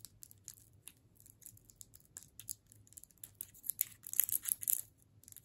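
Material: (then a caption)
Hard candy, plastic. A red and white striped solid hard candy cane in a plastic wrapper is held in both hands and tapped and scratched with long pointed nails. Quiet, bright, dry clicks and crinkly scratches of the wrapper come in a loose, uneven stream with no ring. They grow louder and denser toward the end before fading.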